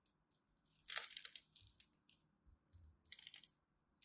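A utility knife blade scrapes and cuts small cubes from the scored face of a solid green and white striped glycerin soap bar held in hand. Quiet, bright crunching and scraping comes in short bursts, with the loudest run of crunches near the one-second mark and another cluster toward the end.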